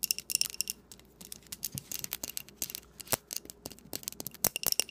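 A small glass candle jar filled with pink wax is held up close and tapped on its side and rim with long painted nails. The result is a rapid, uneven series of sharp, bright clicks with almost no low end and a faint glassy tone near 2.8 kHz that dies away at once. Short pauses break up the taps.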